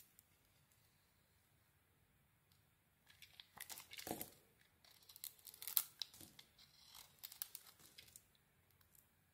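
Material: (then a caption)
Soap. A metal blade carves curls off a blue and cream bar of soap. After about three seconds of near silence, bursts of crisp, bright scraping and shaving noise come in quick, uneven strokes, with little low end, before fading quiet at the close.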